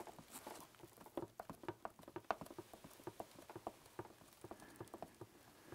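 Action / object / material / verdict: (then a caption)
tap / plastic game console casing / plastic / none. Fingertips tap and scratch the ridged casing of a black, hollow plastic video game console held up in the air. About eighteen quiet, dry, hollow taps with a mid-pitched knock fall in an uneven patter, with soft scratching between them.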